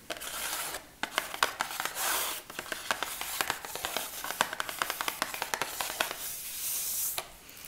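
A small, hollow printed cardboard Veet product box is held in one hand and tapped and scratched with long acrylic nails. Quick, sharp, bright clicking taps alternate with breathy, hissing scratching strokes across the cardboard, with little low-end body.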